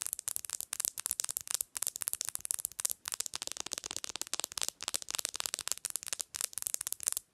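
Long nails tap and click rapidly along the glass screen and edges of a bare black glass-screen smartphone held upright on a pillow. The sound is a dense run of sharp, bright, dry clicks with almost no low end and no ringing after each tap.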